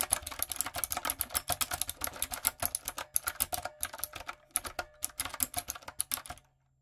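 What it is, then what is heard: Mechanical keyboard with round plastic keycaps being typed on. Fingertips and long nails type on a light-up, retro typewriter-style mechanical keyboard with round plastic keycaps, producing about 39 bright, sharp clicks and clacks in a quick, uneven rhythm. Each keystroke is short and dry with almost no ring, and the typing stops just before the end, leaving brief silence.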